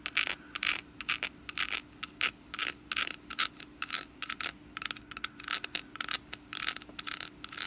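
Long nails scratch and tap the woven surface of a hollow orange wicker pumpkin lid with a wooden stem. The result is a rapid series of short, dry, crackling bursts, bright and airy with a faint high ringing tone and almost no low end.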